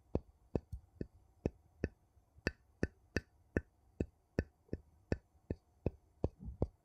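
The edge of a wooden scoop taps and scrapes along the rim of a ridged gold metal screw lid on a small empty glass jar, making 17 short, sharp clicks. Each click has a low thud underneath and a brief bright tick that dies away almost at once, against a quiet background. The taps come at an uneven pace, with a faint scraping smear near the end.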